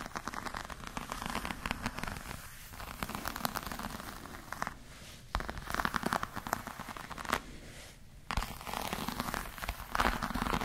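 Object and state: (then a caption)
Croc-embossed patent faux leather clutch. Long nails scratch and tap across the scaly surface of a hollow black glossy crocodile-textured faux leather clutch, a croc-embossed patent leather bag. Dense, dry crackling scrapes and clicks come in bursts with brief quieter gaps, and each contact dies away almost instantly.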